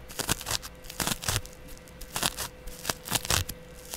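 A flat, palm-sized, porous yellow cellulose sponge, held by a hand with long dark nails, is scratched across its surface with a double-edge razor blade. The scratches come as short, dry, bright rasping bursts in irregular clusters with no ring. A faint steady hum sits underneath.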